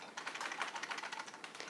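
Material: Plastic.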